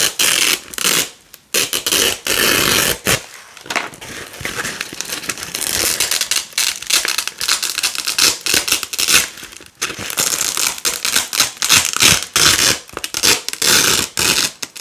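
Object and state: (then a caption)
Nylon hook-and-loop (velcro) strips being peeled apart. Fingers with long nails peel red and white nylon hook-and-loop (velcro) strips off a black loop panel and pull the hook and loop sides apart. The result is a series of bright, crackling, scratchy rips in quick bursts separated by brief pauses, with almost no low end.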